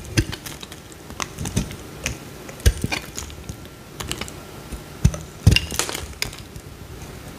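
A utility knife blade scrapes and cuts into a small, solid green bar of soap, and crumbly shavings come off it. The clip is a run of short, crisp, dry clicks and crackles with quick bright transients over a low, soft body. The cuts are spread unevenly across the clip, and a few land louder and sharper than the rest.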